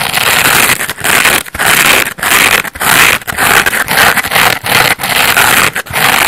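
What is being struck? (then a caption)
Layered foam bath sponge scratched with fingernails. Long painted nails scratch the coarse yellow textured face of a hand-sized layered foam bath sponge, made of solid porous foam in yellow, orange and blue layers and held in one hand. The result is a steady series of bright, hissy scraping strokes with a crackly texture, each separated by a brief pause.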